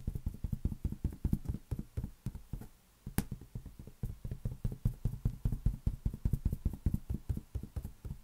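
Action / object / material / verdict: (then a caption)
tap / inflated latex rubber balloon / latex rubber / none. A large, hollow, air-filled green latex balloon is held in one hand and tapped rapidly with the fingertips of the other. The result is a dense, uneven stream of dull, boomy low thumps, each dying away almost instantly. A brief pause near the three-second mark is followed by one sharp, bright click.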